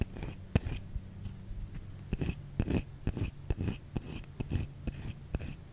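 A white solid bar of soap held in the hand is tapped and scratched with long fingernails. Quick, dry taps mix with short scratchy rasps, heard as a low, muffled thud under faint high scraping that stops almost instantly after each touch.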